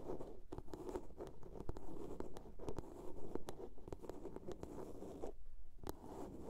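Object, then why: Small plastic soap box. A small hollow blue plastic soap case is tapped and scratched with long nails. Quick, dry clicks land over a steady rasping scratch, with a brief quieter pause near the end before the scratching resumes.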